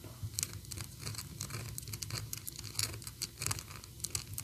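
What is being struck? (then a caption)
Small painted plastic figurine. Long orange and black acrylic nails tap and scratch on the sweater and head of a small, solid, painted PVC Sadness figurine. A rapid stream of crisp, bright clicks mixes with dry, crinkly scratching over a low steady hum.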